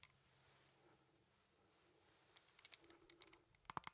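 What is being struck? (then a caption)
Plastic handheld game controller. Fingertips press the buttons and tap the casing of a hollow plastic Nintendo Joy-Con controller, with the Joy-Cons attached to a grip and held in both hands. After about two seconds of faint quiet hiss, soft scattered clicks and taps build into a final burst of sharp, bright plastic clicks that die instantly.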